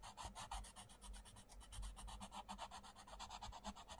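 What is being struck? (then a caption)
Wooden coloured pencil on a paper book page. A wooden coloured pencil scratches and rubs across a mandala page of an open paperback colouring book while colouring. It makes quick, steady back-and-forth strokes with a dry, bright rasp over a soft low rumble.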